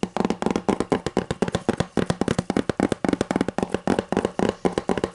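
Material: Cardboard.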